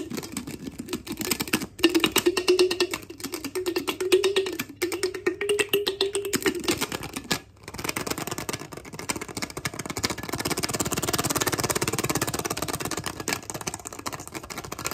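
Fingertips and nails rapidly tap, scratch and twist the wooden bamboo lid on top of a small, clear, empty-looking glass jar. Dense clicking taps over a faint hollow ring around 370 Hz fill the first seven seconds, broken by brief pauses. After a silent gap near 7.5 s, the sound turns into a steadier, brighter scratching and rattling texture.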